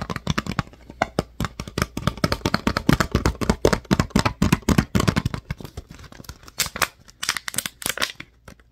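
Fingernails rapidly tap and scratch the ridged sides of a clear, thin PET water bottle with its cap on, which appears empty. The result is a dense, irregular stream of short, dry plastic clicks and crinkly scrapes with a hollow low thump beneath. Brighter scratchy bursts come through toward the end.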